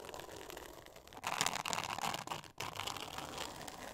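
Long nails scratch and tap across a flat, thin, solid pink glitter-textured board covered in glitter paper. The result is a steady, bright, crinkly scraping with quick, irregular taps. A louder burst of scratching comes in the middle before it briefly drops out, then resumes.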